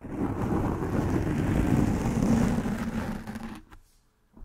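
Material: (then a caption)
Foam. Long nails scratch and rub a soft black foam windscreen covering a microphone head. This produces a dense, low, rumbling scratch with a steady hum-like tone. It holds loud for about three and a half seconds, then drops away to near silence with a faint brush at the very end.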